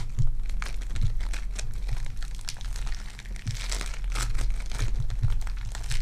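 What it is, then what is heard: Foam bead clay being squeezed. Purple foam-bead clay is squeezed in a fist by fingertips with long dark nails, then stretched between both hands. The result is a continuous stream of fine, bright crinkling and crunching crackles over a steady low hum.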